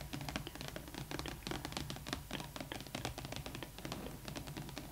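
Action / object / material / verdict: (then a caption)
tap / printed cardboard box / cardboard / none. Long acrylic nails rapidly tap and scratch across the flat side of a large, hollow Rainbow High Winter Wonderland Skyler Bradshaw doll box made of glittery holographic printed cardboard. The result is a dense run of quick, dry clicks and scratchy rasps with a light hollow thump underneath, each tap dying away almost at once.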